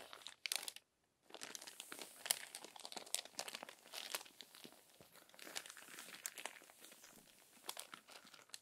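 Long nails turn and smooth the crinkled pages of an open glossy paper magazine, producing dense, bright crinkling and crackling with sharp papery snaps. A brief silent gap falls near the one-second mark before the rustling resumes steadily, with almost no low end and very little ring after each crackle.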